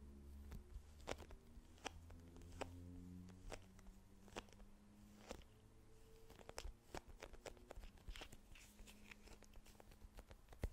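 A small, soft plastic squeeze tube with a green plastic cap, hollow and partly filled, is tapped and scratched with long nails. The result is a quick series of sharp, bright clicks and crunchy scratches, with a steady low hum underneath.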